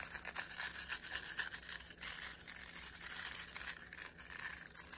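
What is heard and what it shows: Fingers quickly rub and scratch the nylon bristles of a black plastic round hairbrush. The result is a fast, continuous, bright scratchy rustle with many small rapid strokes and little low end.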